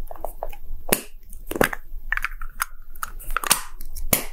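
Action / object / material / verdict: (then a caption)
tap / hollow plastic ball-shaped capsule / plastic / none. A small, hollow, red-and-white plastic gacha capsule shaped like a Poké Ball is held in the hand and roughly tapped with short nails and fingertips. The result is a quick, irregular run of sharp, bright plastic clicks and hollow knocks, with a few louder, crisp strikes standing out over a soft crackling background.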